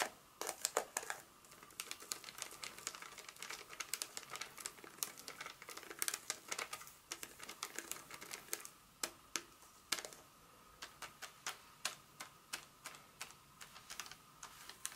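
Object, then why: Chocolate bar in a paper wrapper. A solid Hershey's milk chocolate bar in its paper wrapper, held in the hand, is tapped and scratched with long acrylic nails. Rapid, dry, bright clicks and taps come in quick bursts, each dying away almost instantly, with light scratching and some crinkle from the wrapper. There is almost no low end.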